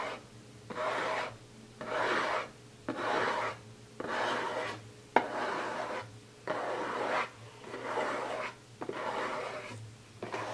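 Fingertips and nails scratch the lid of a closed, hollow, printed cardboard gift box, then hands grip its sides. About ten dry, raspy scratching bursts of roughly half a second to a second each repeat with short quiet gaps. The sound is bright and papery, centered in the midrange with almost no low end.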